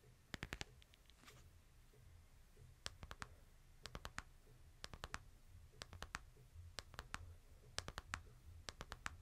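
Fingertips tap the glass screen and plastic case of a smartphone held in the hand. Crisp, bright clicks come in quick bursts of three or four, each dying away almost instantly. A faint low rumble runs quietly underneath.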